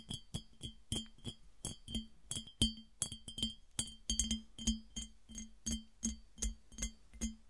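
Long dark acrylic nails from both hands tap a mid-sized, hollow, empty clear glass piggy bank that stands on short legs on a table. A steady run of quick, crisp clicks follows, each with a brief bright glassy ring near 3.1 kHz over a low thump, and none of them sustain.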